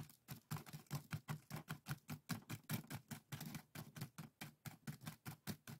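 Fingertips and nails scratch across the woven strips of a small, hollow, empty pair of split-bamboo bokjori strainers tied together on a table. The result is a quiet, steady run of short, dry, raspy strokes, about two and a half per second, each with a hollow low thump under a bright woven crackle.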